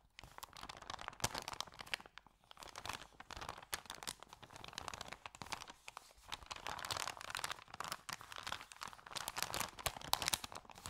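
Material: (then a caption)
Paper. Hands fold, bend and crinkle an empty white paper sandwich bag with yellow print. The result is dense, continuous crackling and crinkling, bright and papery with little low end, broken by sharp, very short snaps and brief quieter pauses.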